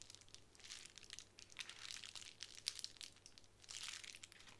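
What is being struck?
Plastic bubble wrap sheet.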